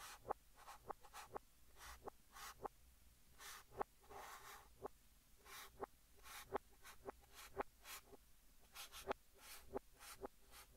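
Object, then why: Chalk stick on a chalkboard. Fingertips hold a yellow chalk stick and write Korean text on a large, flat green chalkboard, scratching it across the surface. Soft, dry scraping strokes with bright hissy bursts alternate with about fourteen sharp, quick taps as the chalk meets the board, each tap dying away almost instantly.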